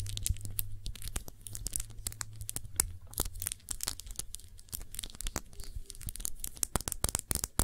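Long nails tap and scratch a round glass perfume bottle with a blue cap, filled with blue liquid and held sideways. Quick, sharp clicking taps mix with crackly scratching over a steady low hum.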